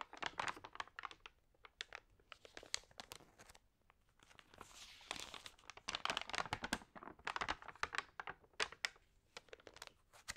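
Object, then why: Glossy paper magazine. Fingertips and long nails rub and flip the thin, crinkled pages of an open glossy paper magazine. Dense bursts of dry, bright crinkling and crackling come in quick, short snaps with almost no low end, broken around the middle by a softer, hissy sliding rub.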